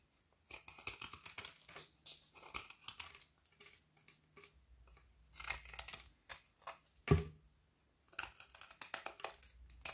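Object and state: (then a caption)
Frozen milk chocolate bar being shaved. A kitchen knife blade scrapes the edge of a partly shaved, frozen solid milk chocolate bar with hazelnut filling, held in hand. It makes crisp, rapid shaving and crackling sounds as curls fall away, with a sharp, louder knock with a low thump near seven seconds. A brief quiet pause follows before the scraping resumes.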